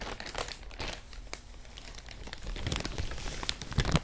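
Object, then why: Thin plastic bag. A large, thin, clear plastic bag, empty and hollow, is held in both hands in front of a clip-on microphone and crinkled and crumpled with the fingertips. The result is a dense run of crinkling with sharp, bright crackles over a low rustle. It dips quieter in the middle and grows louder and busier toward the end.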